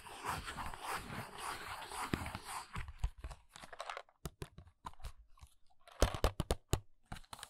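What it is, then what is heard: Paperboard nail box. A small, hollow paperboard press-on nail box with a plastic window is worked with long nails. The nails first give a steady, scratchy rasp across the top. Then they move to the front, where crisp separate taps mix with lighter tracing strokes.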